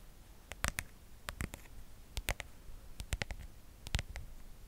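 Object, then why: Plastic smartphone case. Long acrylic nails tap and scratch the back and sides of a hand-sized smartphone in a pale pink patterned plastic protective case, with the camera visible on the back, held in both hands close to the mic. Quick clusters of sharp, dry, bright clicks stand out against a quiet low rumble, each tap dying away almost instantly.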